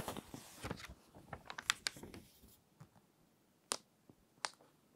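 Long painted nails and fingertips smooth, rub and turn the thin glossy paper pages of a large fashion magazine lying open and flat. Soft, bright paper swishes and crinkles are broken by sharp, crisp ticks and snaps as the pages are handled and flipped. The activity thins out into quiet pauses, with a few isolated clicks toward the end.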